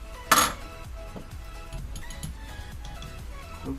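The original polarized glass lenses, removed from Ray-Ban aviator sunglasses, are tapped together, giving one sharp, bright clink that rings briefly around 1.2 kHz. Softer, duller taps follow over faint tonal background sound, confirming the lenses are actual glass.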